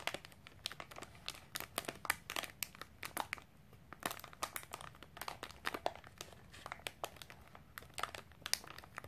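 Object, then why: Snack bar in a plastic foil wrapper. A small, sealed Milo cereal snack bar in a crinkly plastic/foil wrapper is held over a wooden table and squeezed and crinkled with long pink-painted nails and fingertips. A steady run of quick, sharp, bright crackles and crinkles comes through with almost no low end. Each snap dies away instantly at a fairly quiet level.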